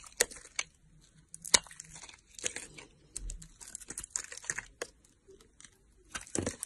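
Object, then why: Bar of soap cut with a blade. A box-cutter blade carves and scrapes chunks off a solid red bar of soap held in long-nailed fingers. Quiet, crisp, bright crunching and scraping cuts come in an irregular series, each short and dry with almost no ring.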